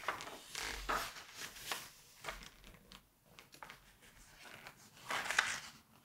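Hands hold the edges of thin glossy pages of a large September 1986 Vogue magazine lying open on a white table, turning and flipping them. Soft, bright paper crinkles and whooshing rustles come in uneven bursts, the loudest near the start and the end.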